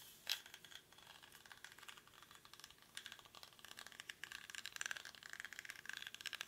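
A small, hollow woven rattan or reed basket is held in both hands while fingernails scratch across its weave. The result is a quiet, dry, bright scratching and rattling made of many rapid, short ticks with no low end. It grows denser and slightly louder toward the end.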